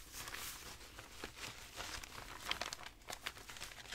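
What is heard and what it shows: Fingertips with dark-painted nails leaf through and ruffle a loose stack of aged, tea-stained, crinkled paper sheets, thin and dry, rubbing and rustling them while a carved book cover sits untouched beside the stack. The sound is a steady, quiet, bright crinkling rustle with little low end, broken by short sharper crackles that die away almost at once.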